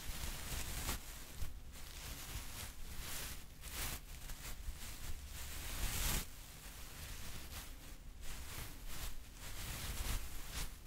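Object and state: Nothing is struck.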